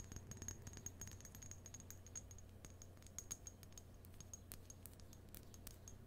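A small clear glass bottle or vase holding a pink artificial rose is held in both hands and tapped and scratched with long nails on the glass. Quick, light clicks and scratchy ticks patter unevenly, each bright and short with a faint high glassy ring, over a steady low hum.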